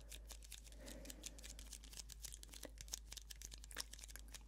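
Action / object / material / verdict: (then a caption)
tap / thin plastic cup filled with pomegranate arils / plastic / none. Long manicured nails tap and scratch the sides of a small, clear, thin-walled plastic cup filled with pomegranate arils, held in both hands. The result is a quiet, rapid stream of crisp, bright clicks and crinkly scratches. A steady low hum runs underneath throughout.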